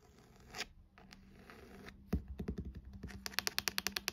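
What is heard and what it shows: Long glossy acrylic nails scratch across the textured, embossed faux-leather cover of a solid maroon hardcover book with gold lettering lying flat on a desk, giving a soft, bright rasping scrape. The scratching then gives way to a run of quick, sharp, dry taps with crisp high clicks that die away instantly.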